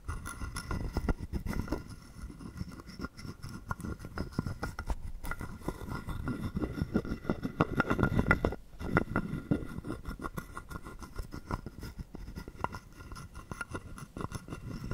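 A wooden stick is scraped along the ridges of a hollow, carved wooden frog guiro held in the palm, and tapped against it. Dense, rapid ratcheting clicks with a hollow, woody resonance run throughout, with a short pause just before the 9-second mark.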